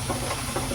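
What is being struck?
Nothing is struck.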